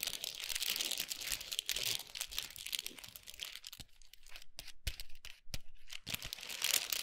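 Long nails tap and scratch across a large chocolate bar wrapped in gold foil with a paper sleeve, producing dense, bright crinkling and rustling. Around the middle the scratching thins into sparser, sharper taps, then the busy high crinkle returns at the end.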